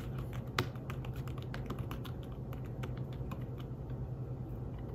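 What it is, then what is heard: Fabric-covered tablet keyboard being typed on. Fingertips type on the keys of a thin, flat, grey fabric-covered folio keyboard for a tablet. Soft, muffled taps come in a quick, uneven stream, with one sharper tap standing out early. A steady low hum runs underneath.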